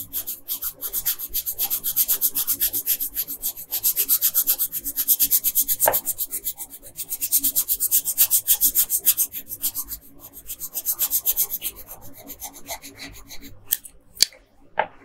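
A hand with long pink nails colors a thin paper coloring page on a dark table with a wooden colored pencil. Quick back-and-forth strokes make a steady, bright scratching and rubbing hiss that softens toward the end. A few sharper ticks follow as the pencil lifts and touches down.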